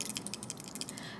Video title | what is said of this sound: MAKEUP PROJECT PAN 2019 UPDATE 1 | You can hear just a few water drops because I feel like I have just one use left.